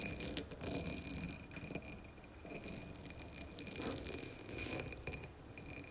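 Long nails tap the sides and then the rim of a dark blue embossed glass candle jar filled with wax. The result is a quiet, steady patter of quick, light glassy clicks with a soft rattle and scrape, each dying away almost at once under a faint steady high tone.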